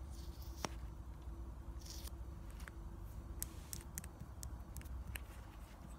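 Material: Plastic.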